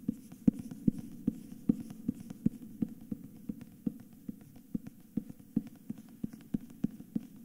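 Fingers and nails tap and scratch the front cover of a solid cream hardcover book with a paper dust jacket, held tilted in both hands. A quick, somewhat uneven series of short, dull taps lands with a low, papery thud, over a soft, continuous scratching rustle.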